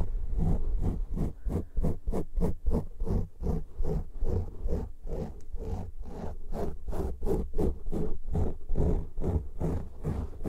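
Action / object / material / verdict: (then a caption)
scrape / foam microphone windscreen / foam / none. Fingertips and nails of both hands scratch two matching soft, porous black foam windscreens on studio microphones. The result is a rapid, steady stream of rough, muffled scratching strokes, about three per second. The sound is deep and boomy, with almost no high end.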